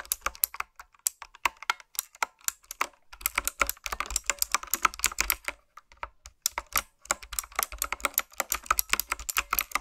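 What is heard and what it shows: Long nails and fingertips type on the round plastic keycaps of a typewriter-style, retro mechanical keyboard. Rapid, bright, dry clicks and clacks come in bursts, with brief pauses and almost no low end. Each keystroke dies away almost instantly.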